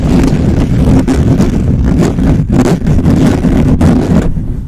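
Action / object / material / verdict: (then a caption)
scrape / metal mesh microphone grille / metal mesh / none. Fingertips scratch and rub fast over the hollow metal mesh grille of a black microphone. The result is a loud, continuous, rough rumbling scrape, heavy in the low end, with brief dips between strokes and a slight fade at the end.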